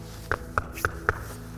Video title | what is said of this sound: Blind Basketball – Passing - Adapted PE & Inclusive Sports | as the ball hits the poly spot, it makes a different sound than when it hits the gym floor